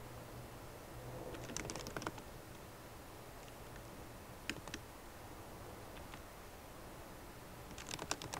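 Both hands tap on a MacBook Pro keyboard, its plastic keycaps set in an aluminum body, using long nails and fingertips. Short, bright clicky taps come in bursts near the start, the middle and the end, over a steady low hum. The taps are quiet and die away almost at once.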